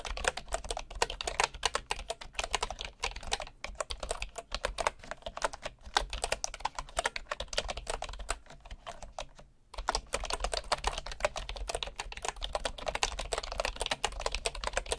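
Fingertips of one hand type rapidly on a bamboo wood computer keyboard with wooden keycaps, producing a dense stream of short, dry, bright clicks and taps. The typing runs steadily over a faint low hum, pausing briefly just before the 10-second mark before resuming at the same quick pace.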